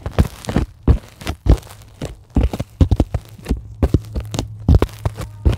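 A flat white closed-cell polyethylene foam sheet, solid, is scratched and tapped with long glittery acrylic nails. The result is a rapid string of soft, dull, low thunks with brief crunchy scratching in between, each dying almost instantly over a steady low hum.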